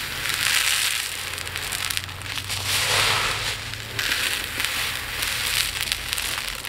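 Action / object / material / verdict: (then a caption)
scrape / small resin beads in a plate / resin / none. Fingers with long nails rake through a pile of tiny resin diamond art drills in a dark plate, then scoop them up and pour them back down. The result is a dense, bright, crackling rattle that swells and eases in waves as the small pieces scatter and shower onto the plate.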